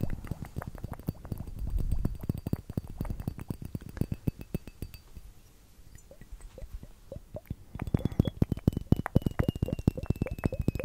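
A small hollow glass liquid-timer hourglass filled with purple glitter liquid is held upright close to the mic and tapped rapidly with the fingernails of both hands. The taps land as a dense, uneven patter of short, dull knocks with light clicky edges. They quiet down briefly in the middle, then return louder and more ringing toward the end.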